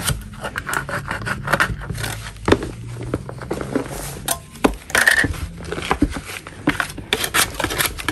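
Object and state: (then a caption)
Chalk block being scraped. A purple-gloved hand scrapes a large solid chalk block with a metal putty knife. Repeated gritty, crumbly rasps and short scratchy strokes overlap, with sharper bright bursts and a faint low hum underneath.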